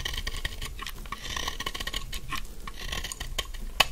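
A metal utility knife blade repeatedly scrapes the corners of a narrow, solid pink bar of dry soap, making a continuous dry, rasping shaving sound. Quick bright scratches with a faint ring near 3 kHz run together over a low rumble, and a sharper crisp scrape stands out near the end.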